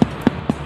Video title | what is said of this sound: CARA ATTA PANJAT POHON | Bunyinya seperti perut kalau kembung